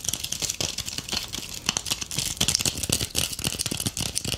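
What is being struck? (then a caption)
Tinsel-covered ornament ball. Long painted acrylic nails rapidly scratch and tap a palm-sized ornament ball covered in shiny gold metallic tinsel strands, held in both hands. The result is a dense, bright crinkling and rustling, studded with quick, sharp taps that stop instantly with no ring.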